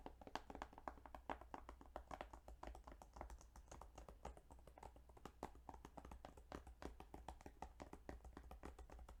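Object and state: Plastic game case being tapped.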